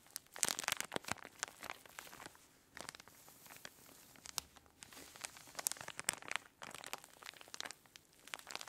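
Two hands with long nails squeeze and crinkle a clear plastic zip-lock bag full of orange kinetic sand on a table. Dense, bright crinkling and crunching crackles come in quick bursts with short pauses, each snap dying almost at once and with almost no low end.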